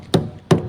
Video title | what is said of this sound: Simulasi Pengoperasian Boiler Vertical tipe Water tube - Pabrik Rumput Laut SMK-SMTI MAKASSAR | ada bunyi yang dia terasa dan seperti terisi